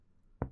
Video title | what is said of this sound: Examen físico del Aparato Respiratorio - Semiología - FCM UNR | acá encontramos su matidez a la altura de la quinta costilla se da por la superposición del pulmón con el hígado